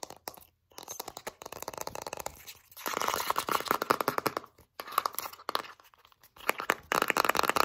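Long nails rapidly scratch and tap a large Vaseline jar, a translucent plastic body with a blue plastic screw lid, full of petroleum jelly. Dry, crackly scraping and clicky taps come in dense bursts with brief silent gaps, centered in the midrange with bright hiss and almost no low end.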